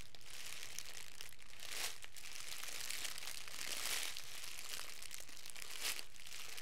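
Thin, clear plastic cellophane wrap, crumpled into a hand-sized bundle, is squeezed, rubbed and crinkled by the fingertips of both hands. It makes a steady, dense, bright crackle with very little low end. The crackle swells into louder bursts of crinkling a few times along the way.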